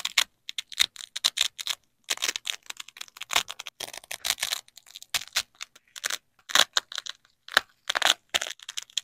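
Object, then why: Nylon hook-and-loop fastener. A flexible yellow nylon hook strip is slowly bent and peeled away from a black loop strip of a hook-and-loop fastener, held in black-gloved hands. It makes dry, bright crackling rips in short clustered bursts separated by brief silences, with almost no low end and no ring after each crackle.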